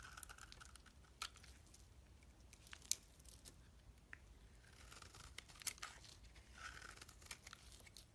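A solid oval bar of soap, green outside and purple inside, is held in the hands and shaved with a metal knife blade. Quiet, dry scraping and cutting carries bright, crinkly texture, broken by sharp, short clicks and crisp snaps as the blade bites in.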